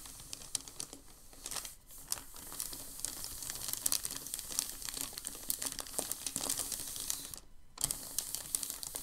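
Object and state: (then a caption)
Crinkling packing paper. A hand sweeps and rubs its palm across a large, thin, crumpled and creased sheet of packing paper on a dark table. The result is a dense, continuous crinkling of bright, sharp crackles and snaps over a faint, steady low tone, with a brief near-silent pause late in the clip before the crinkling resumes.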